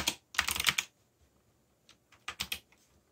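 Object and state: Plastic mechanical keyboard.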